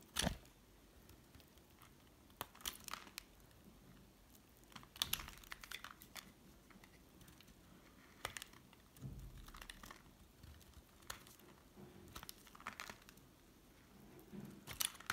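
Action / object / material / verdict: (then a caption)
scrape / small chunk of hard bar soap / soap / none. A small remaining chunk of solid pink hard soap, held in the fingers, is shaved with a metal utility blade. The cuts make crisp, dry scraping and crunching bursts that are bright and short with no ring, separated by quiet pauses. A few duller, softer thuds appear in between.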